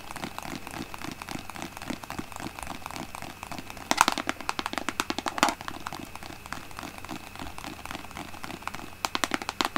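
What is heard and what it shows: Long painted nails tap rapidly on the front of a large, apparently full white plastic Aveeno lotion bottle with a green pump, held in both hands. The result is a steady stream of quick, dry, clicky taps with almost no ring, centred around 930 Hz with a bright edge. A few louder bursts stand out around the 4 and 5.5 second marks and near the end.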